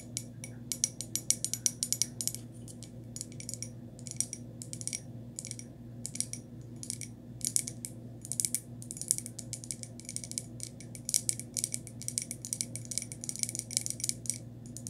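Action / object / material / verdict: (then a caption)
scrape / small glazed ceramic pot / ceramic / none. Long nails tap and scratch around the bumpy glazed body of a small, hollow, white glossy textured ceramic pot with its opening visible. Dense bursts of rapid, bright, dry clicks and scrapes come in uneven clusters with short pauses, over a faint steady low hum.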